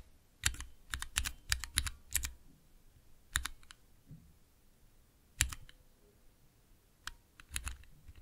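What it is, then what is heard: Plastic mechanical keyboard switch tester. Fingertips type on the clear plastic keycaps of a small, hollow plastic mechanical keyboard switch tester fitted with Cherry MX switches. Quick clusters of sharp, bright clacks with a low, hollow thump underneath are separated by short pauses. Each keystroke dies away almost instantly.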